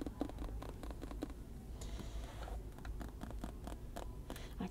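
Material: Rubber.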